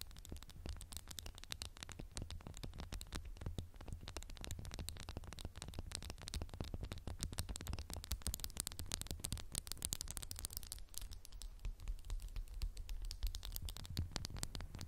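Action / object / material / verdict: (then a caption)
tap / glass candle jar / glass / none. A candle in a textured glass jar is tapped quickly and steadily with fingernails. The result is a dense stream of short, bright clicks with no ring, over a constant low hum and faint hiss.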